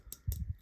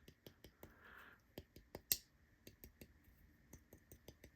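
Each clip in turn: First: folding knife with a slight internal rattle from a loose lock spring. Second: folding knife with no lock rattle.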